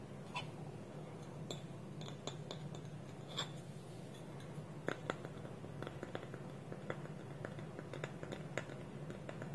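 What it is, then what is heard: Wooden lidded bowl. Fingertips and nails tap and scratch the side of a small, round, hollow, polished dark wooden bowl while its wooden lid is held tilted on top. Quiet, dry taps sound as short, sharp clicks with almost no ring over a steady scratchy rustle and a low, soft bed of noise.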